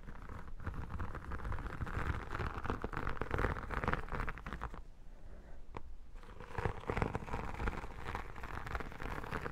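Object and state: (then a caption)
Textured vinyl photo album cover. Long dark nails tap and scratch across the embossed cover of an iridescent textured vinyl photo album lying flat. A dense, crackly patter of scratches and taps runs throughout, dropping to a quieter stretch with a single sharp tap near the middle before the scratching picks back up.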